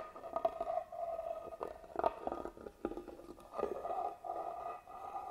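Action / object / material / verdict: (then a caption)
scrape / carved wooden box / wood / none. A small black tool scratches across the carved pattern on the lid of a hollow, hand-carved wooden box held upright. The quiet, rasping strokes come in uneven bursts, each carrying a hollow, resonant mid-pitched tone from the box's body.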